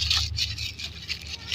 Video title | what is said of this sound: Ne jetez pas les feuilles de canne à sucre #tisane #remede de grand-mère | Nos feuilles de canne à sucre ont séché. Vous entendez comment ça fait, comment ça craque un peu là sous la main.